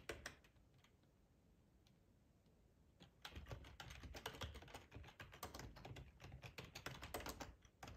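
Fingertips type on the keys of a black plastic ergonomic split keyboard with a hollow housing, resting on a cloth tablecloth. A couple of clicks open the clip, then there is a quiet pause of about three seconds. After that comes a steady, irregular run of dense, hollow plastic key clacks with a bright click on top and soft thuds underneath.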